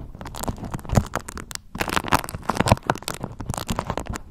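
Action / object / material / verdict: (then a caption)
scrape / beeswax-coated cotton wrap / waxed cotton / none. A pale yellow beeswax-coated cotton food wrap is bunched up and crumpled between fingers and palms while long nails scrunch and rub the waxy fabric. Dense, papery crinkles and scratchy rustles come in quick bursts over a soft, low, thumpy undertone, with a brief lull partway through.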